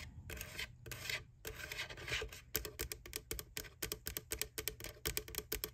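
Fingertips and nails rub and scratch across the white plastic lid of an empty McDonald's Boo Bucket, just under its handle. Long, bright, raspy strokes come first, then a quick run of short, crisp scratches with a thin, high edge.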